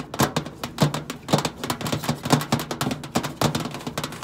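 Long pointed acrylic nails tap rapidly on the flat stainless steel side panel of a hollow microwave. The result is a quick, irregular stream of short, dry clicks with a hollow low body and little ring.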